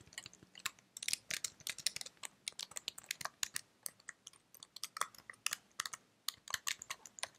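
Fingertips with long red-painted nails type on and tap the keys of a white slim plastic computer keyboard held up close. Dense, quick, bright clicks and clacks come in uneven bursts with brief pauses, each tap short and dry with almost no low end.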